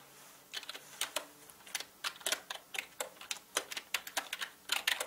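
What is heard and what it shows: Fingertips type fast on a full-size black mechanical gaming keyboard with plastic keycaps and a hollow body. About 22 sharp, bright clicks come in an uneven quick run, each dying out almost at once, with almost no low end.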